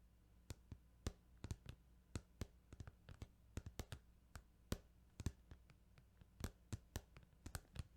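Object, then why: Plastic video game case. Fingertips tap on a plastic Final Fantasy 8 video game case in an irregular run of quick, dry clicks. Each tap is brief and sharp, reaching up into bright highs, over a quiet, steady low hum.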